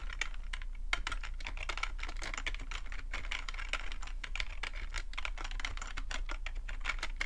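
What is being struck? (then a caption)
Plastic computer keyboard. Fingertips type steadily on a full-size black plastic computer keyboard with a hollow plastic body, producing a fast, continuous stream of short, clicky key taps. The clicks are bright and crisp, centred around 2 kHz, with very little ring, over a steady low hum.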